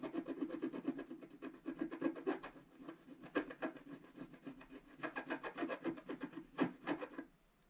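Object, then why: Black-coated scratch art card scraped with a wooden stylus. A wooden stylus makes rapid, dense scratches across a flat, black-coated scratch art card about A4 size, revealing colour underneath. A quick run of short, raspy strokes, about four per second, has a dry, papery scrape centred in the low mids with brighter hiss above. The strokes stop abruptly near the end, leaving quiet.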